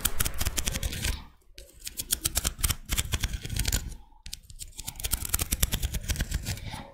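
Long red nails scratch and tap the ribbed outer surface of a small, thin, curved pink-white scallop shell held in one hand. Rapid, bright clicks and dry scratching run in dense bursts, with two brief pauses partway through.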